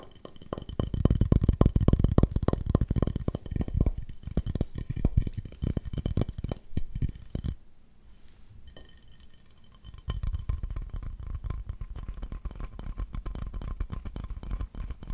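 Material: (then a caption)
Ceramic. A solid, empty glazed ceramic owl plate, held just above the mic, is tapped quickly with the fingertips of both hands, giving dense, irregular clinking hits with a heavy low thud. The tapping is loudest for the first seven seconds, drops to a near-silent pause, then resumes more softly to the end.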